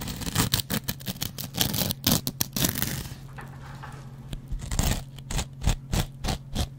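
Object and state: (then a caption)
Cellulose sponge with scouring pad. A metal double-edge razor blade scratches a dry, hand-sized kitchen sponge made of yellow cellulose foam with a green abrasive layer, mostly on the green scouring pad. Quick, rough, bright scraping strokes come in rapid bursts, fade to a quieter stretch of softer rasping, then return as separate sharp scratches. A steady low hum sits underneath throughout.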